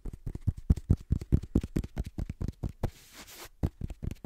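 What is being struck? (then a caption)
Paperback book, paper pages and cover. Fingertips and short nails tap and scratch the page edges and paper cover of a black paperback book. About twenty quick, dull, low taps come in an uneven rhythm, briefly interrupted by a soft, hissy scratch across the paper before the tapping resumes.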